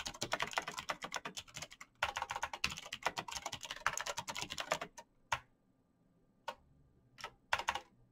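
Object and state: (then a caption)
Plastic mechanical keyboard. Fingertips in fingerless knit gloves type fast on a black plastic mechanical gaming keyboard with clicky green switches, backlit keys and a hollow case. Dense runs of sharp, bright clicks fill the first five seconds, with a brief pause near the two-second mark. The typing then thins to a few scattered, isolated taps.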